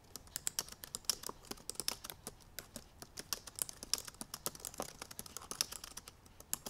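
Long purple nails tap the black plastic keys of a silver aluminum MacBook Pro laptop keyboard in fast typing. Dozens of quick, dry, bright clicks land in an uneven, rapid stream with almost no ring and very little low end.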